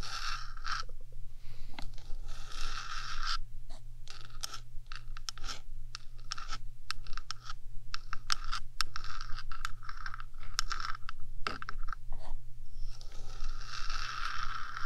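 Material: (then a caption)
Metal. Long dark nails on one hand scratch and tap the top of a 3Dio microphone's small rectangular metal housing. Dense, bright scratching and short, dry taps sit over a steady low hum throughout.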